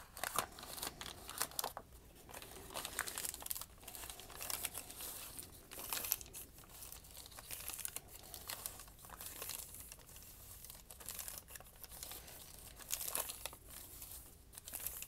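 A small, folded and crumpled sheet of thin, flexible white lined notebook paper, held in one hand with dark painted nails over a wooden table, is crumpled and crinkled by the fingers. The result is a quiet, steady run of dense, bright crackles and crinkles with sharper snaps scattered throughout, and little low-end body.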